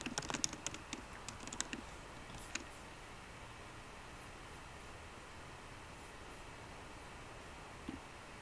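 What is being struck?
Laptop keyboard, plastic keys in aluminum body.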